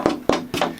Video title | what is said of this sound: That's a BIG Guitar - Doug Wilkes Workshop | this has got a tap tone now. It was just a dull thud, you know, it was broken. But now it's ringing.